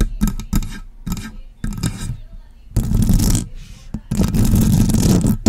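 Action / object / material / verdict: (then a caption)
scrape / metal microphone body and grille / metal / none. Long press-on nails tap and scratch the body and top grille of a hollow, silver metal USB microphone. Short, bassy knocks with a deep boomy resonance come first, then give way to longer stretches of dense, bright scratching that fill the clip.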